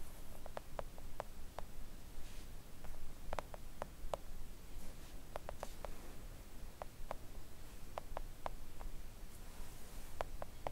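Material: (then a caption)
Silicone. Long acrylic nails tap a thin, solid, flat pink silicone nail art mat lying on a table, with a brief pause partway through when the hands leave the frame. The taps are short, soft clicks with no ring, centered around 600 Hz with faint bright tips, heard over a steady low background hiss.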